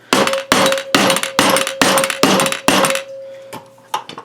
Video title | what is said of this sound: 1980 Suzuki FZ50 Project - Part 7 - Splitting The Crankcase | sound is almost like it's ready to go